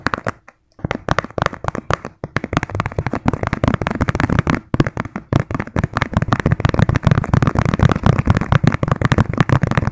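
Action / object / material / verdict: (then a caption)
tap / plastic bowl / plastic / none. Fingertips and nails tap rapidly on the outer base and rim of a round, hand-sized, hollow yellow plastic bowl or lid held upside down in both hands. A dense stream of short, dry clicks and taps runs nearly nonstop, with a hollow low body under each hit. Brief pauses come early, and the tapping grows thicker and louder later on.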